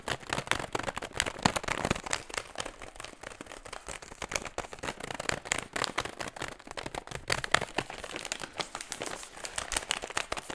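An empty metallized plastic foil snack bag is squeezed and scratched with fingertips close in front of a microphone. Dense, bright crinkling and crackling runs steadily through the whole clip, with sharp little snaps and almost no low end. Only the crinkling of the foil is heard.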